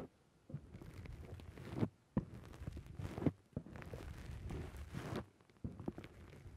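Fingertips repeatedly press and squish a black foam dome windscreen on a microphone. The result is close, muffled, low-heavy rustling and crunching bursts, with a few sharper thumps, separated by brief near-silent pauses.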